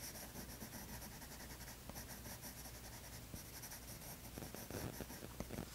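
A light green wooden colored pencil scratches short strokes onto a spiral-bound toned tan paper sketchbook lying flat, with the other hand resting still on the page. A quiet, steady, bright scratching hiss continues throughout, with a few sharper ticks near the end.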